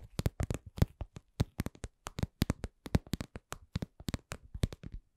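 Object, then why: Cosmetic pouch. A cosmetic pouch is tapped in a quick, uneven series of 27 soft, dry taps over about five seconds. Each tap is short and low-pitched, with almost no ring.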